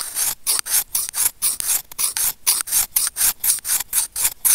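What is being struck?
Plastic earphone inline microphone and steel tweezers.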